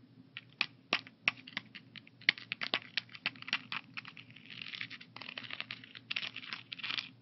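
Fingertips and nails tap across the compartment lids of a hollow, translucent blue plastic AM/PM weekly pill organizer holding pills. Quick, bright, sharp clicks come in an irregular run, then turn into a denser, crinkly patter toward the end.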